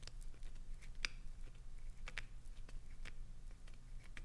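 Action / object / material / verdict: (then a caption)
scrape / glycerin soap bar / glycerin soap / none. Long nails scratch into the surface of a solid, hand-sized green glycerin soap bar held upright, and soap shavings fall onto the carpet. Soft, dry scraping is heard with several brief, bright crackling clicks, over a quiet low steady hum.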